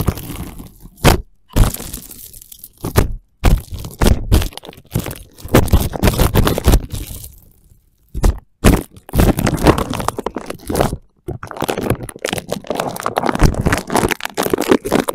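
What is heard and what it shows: Fingertips and nails scratch and tap across dry, crinkled, thin clear plastic cling wrap stretched over a microphone resting on a wooden floor. Close, crackling crinkles and soft dull taps come in irregular bursts separated by brief silences. The sound is mostly low and muffled, with little bright hiss.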